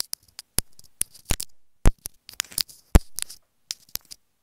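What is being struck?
Small plastic earphone inline remote.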